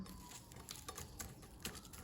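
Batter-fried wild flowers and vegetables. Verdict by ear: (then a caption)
Crisp. Batter-coated wild vegetables and edible wild flowers, deep-fried until cooked through and dry, give off a faint, crisp crackling. A series of small, bright snaps pops over a low background rustle, the sound of the fritters' crispness.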